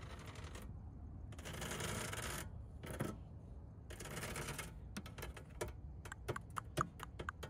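Long pink nails scratch and tap across the black hexagonal plastic honeycomb grille mesh set into the red body of a McLaren GT. Several broad, hissy scratching passes come first, followed by a run of many sharp, dry, quickly fading taps over a low, steady rumble.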